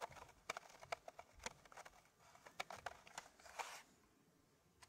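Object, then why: Wooden puzzle tray with fitted pieces. Fingertips and short nails tap and scratch across a square, flat, solid wooden puzzle tray with a laser-cut Gosper-curve pattern of fitted wooden pieces, tilted up at its edge. Quiet, sharp, dry clicks come in quick irregular bursts between soft, bright scratchy rustles, with a longer scrape just before the sound fades to near silence and one last faint tap.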